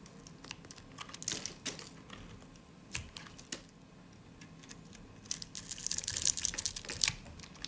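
A solid, dry white soap bar held in the hand is sliced with a utility blade into thin, stacked flakes along its edge. It makes irregular, crisp, bright crunching and scraping clicks with almost no low end. The clicks swell into a denser crackle near the end.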